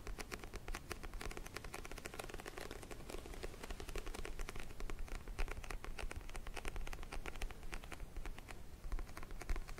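Fingernails tap quickly on the glossy orange cover of a small paperback book held close to the microphone. The result is a steady, quiet stream of crisp, dry clicks that die away almost instantly over a soft low rumble, with the tapping growing slightly louder toward the end.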